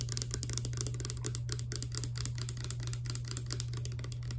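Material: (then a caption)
Plastic. A small, hollow, clear plastic Fructis hair serum bottle with a green pump, holding clear liquid, is held in one hand and tapped rapidly with long nails. It gives a dense run of quick, bright clicks over a steady low hum.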